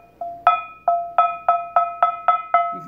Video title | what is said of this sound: I Sold 5 Cast Iron Items This Week & Bought 3 More Cast Iron Skillets to Restore! What Did I Find? | it rings as clear as a bell